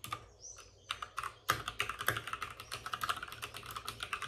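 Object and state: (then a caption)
Plastic mechanical keyboard. Both hands with short-nailed fingertips type rapidly on a white full-size plastic mechanical keyboard with plastic keycaps and RGB backlighting, resting on a desk with a padded wrist rest. A few scattered clicks open the clip, then a quick, steady run of bright, crisp key taps follows, each click short with a slight ring around 1.2 kHz and almost no low end.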